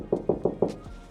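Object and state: Metal panel well damped by sound deadening.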